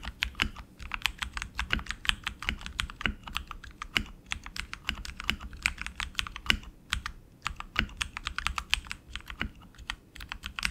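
Both hands type continuously with their fingertips on a tenkeyless RGB mechanical keyboard with tactile switches and plastic keycaps on an aluminum frame. Dense, bright, dry clicks follow each other rapidly, each dying out almost instantly. Occasional louder, deeper strokes stand out at irregular intervals.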